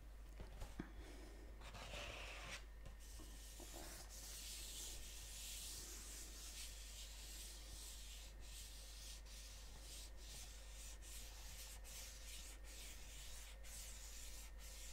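A large, flat, hollow gold glossy cardboard gift box is held close to the microphone and rubbed and scratched with fingertips and nails. The result is a soft, continuous, bright scratching and rubbing hiss with a few faint taps near the start, over a low steady hum.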